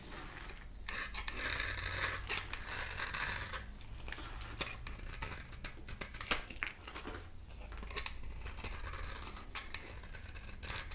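A palm-sized, solid oval bar of dry soap with a dark shell and cream core is held in the hand and scraped in thin layers with a metal utility knife blade, shedding flakes. The result is a steady run of crisp, bright scraping strokes with a dry, papery texture and a faint low rumble beneath.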